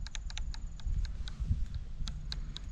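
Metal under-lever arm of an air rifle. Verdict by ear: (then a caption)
Loose. The loose metal under-lever arm of an Umarex Synergis Elite air rifle is moved back and forth beneath the barrel, producing a run of quick, light clicking and clattering rattles over a low rumble. The arm moves around badly, a minor defect.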